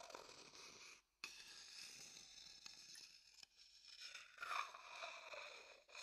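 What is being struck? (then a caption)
Wooden bowl and thin wooden stick. A thin wooden stick scrapes and taps around the inside and rim of an empty, dark, hollow wooden bowl held close to the mic. Quiet, bright, hissy scraping runs throughout, broken by a brief silence near one second and a few light taps with a dry, short ring around 1.2 kHz.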